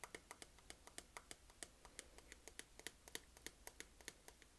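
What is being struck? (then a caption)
Small round plastic makeup compact. Long acrylic nails tap rapidly on the lid of a small, hollow, round black plastic makeup compact (a baking powder jar) held up in the air. The result is a quick, uneven run of sharp, bright clicks with a light hollow tone and almost no ring, over a low, quiet background.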